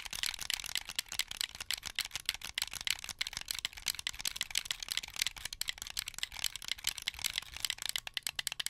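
Fingertips press the triggers and bumpers of a hollow, translucent blue plastic Xbox 360 controller held in both hands, producing a rapid, continuous stream of plastic clicks. The clicks are crisp, bright and very short, with almost no low-end body and no ringing after each press.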